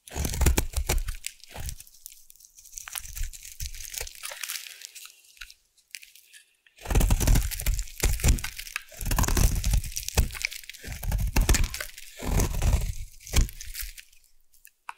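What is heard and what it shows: A solid purple bar soap from the Savannah collection is held in the hand and scraped with a metal blade into shavings. Crisp, crunchy scraping and crackling strokes come in dense bursts, with a brief silent pause near the middle before the carving resumes.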